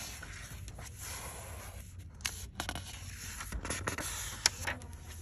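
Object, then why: Paper pages of a paperback book. Long acrylic fingernails scratch and rub along the printed paper pages of an open paperback book and turn or riffle them. The sound is a dry, papery scraping with a few sharp clicks and rustles over a steady low hum.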